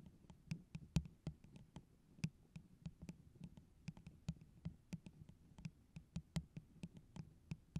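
Long orange acrylic nails tap quickly and irregularly on the sides of a tall, empty, hollow plastic tumbler with a holographic pineapple print, held close over the microphone. About 27 short, soft taps are heard, each a dull, low hollow knock with a faint bright click that dies away almost at once.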